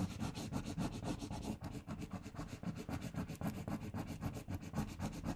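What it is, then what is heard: Paper sticker rubbed on a paper sheet. A "LOVE" letter sticker on a thin, flat pink paper sheet is rubbed firmly with fingertips and long painted nails while the other hand steadies the sheet. The result is a steady run of quick, slightly uneven rubbing strokes, about four per second, with a soft, dull, papery scratch weighted toward the low end.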